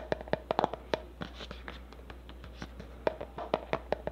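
A black plastic cosmetic tub with a label, held in one hand, is tapped and scratched with long nails on its lid and side. A quick, irregular series of sharp, dry clicks with a hollow tone around 750 Hz stops dead at once, with soft scratching and a low steady hum between the taps.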